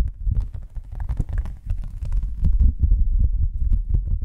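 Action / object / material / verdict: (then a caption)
tap / thin cardboard sheet / cardboard / none. A thin, flat white cardboard sheet, held close to the microphones, is tapped with long nails and fingertips. The result is a rapid, irregular stream of soft, deep thumps with a muffled, boomy low end. Faint crisp clicks from the nails sit on top.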